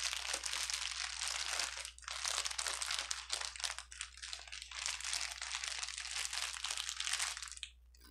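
A small bundle of clear plastic air-bubble wrap with hollow, empty air cells, resting on a table, is squeezed and crunched with the fingertips of one hand. It produces dense, bright crinkling and crackling that continues almost without pause, with brief dips near two and three and a half seconds. It fades out just before the end over a faint, steady low hum.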